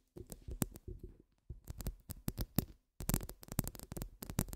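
Long almond-shaped acrylic nails scratch the woven grille of a hollow metal mesh microphone head. The result is three bursts of dense, rapid scratching and tapping with short silences between them. The sound is dry and low-heavy, with sharp high clicks on top.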